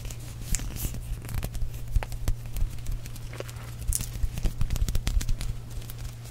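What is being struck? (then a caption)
Small plastic tube. A small, hollow purple plastic balloon-paste tube is held up, tapped and scratched with fingernails, then rolled between the fingers. It gives an irregular run of dry, short clicks and crinkly scratches over a steady low hum, with a livelier burst of taps near the end.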